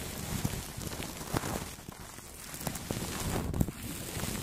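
Two makeup brushes sweep across clear plastic cling film wrapped over a Blue Yeti microphone, making a steady, close crinkly rustle with a low, muffled body and faint bright hiss. A few sharper crackles poke out of the continuous brushing.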